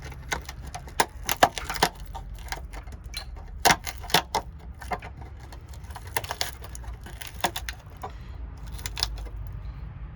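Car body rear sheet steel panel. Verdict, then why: Rusted. Rusted, rotten rear steel panel behind the outer skin of a Twingo's rear wing is handled, giving a run of sharp, dry crackles and snaps. The sheet is rusted through and has to be cut out and redone.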